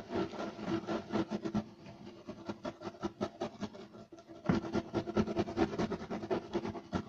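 Short nails of both hands scratch fast and aggressively across a flat, solid, beige striped woven loop-pile carpet. The result is a rapid run of dry, raspy scratching strokes. They ease into a quieter, sparser stretch midway, then return louder and denser toward the end.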